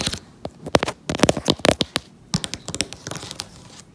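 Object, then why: Cardboard jigsaw puzzle on a table. Fingertips and nails tap and scratch across the printed surface of a large, fully assembled, colorful cardboard jigsaw puzzle lying flat on a table. A quick, uneven series of dry, crisp taps mixes with papery, crinkly scratching. Each sound dies out almost instantly, with a brief pause in the middle of the clip.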